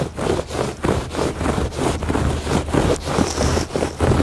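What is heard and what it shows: Fingertips and nails rub and scratch across the weave of a woven fabric rug on a porch. The result is a steady run of soft, dull scratching strokes, each swelling and fading at a loosely regular pace. A low rumble sits underneath, with only faint brightness on top.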